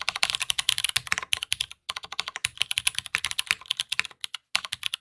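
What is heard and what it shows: Fast two-handed fingertip typing on a black anodized aluminum tenkeyless mechanical keyboard (Matrix 8xv2.0) with a polycarbonate plate, Cherry MX Brown switches and GMK ABS keycaps, resting on a desk mat. Dense, bright, clicky keystrokes clatter with very short decays and a few brief pauses.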